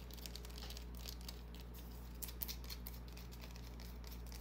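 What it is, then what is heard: Bar of soap scratched and tapped with fingernails. Long fingernails scratch and tap a small solid white bar of soap held in the hand, making soft, bright scratchy ticks and light taps. The quiet clicks sit over a steady low hum.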